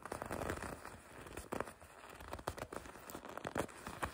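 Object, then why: Leather jacket. Long red nails grip and scratch the leather of a red and black leather racing jacket with white stripes. The result is a quiet, steady run of dry crinkling and scratchy rustles, with soft sharper grabs standing out now and then.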